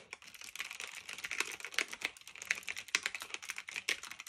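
Fingertips with medium nails type steadily on a black retro typewriter-style mechanical keyboard of plastic and metal with round keycaps, resting on a fluffy blanket. Quick, bright clacks come in an uneven stream, each dying away almost instantly, with a sharp click around 2 kHz and no low-end thump.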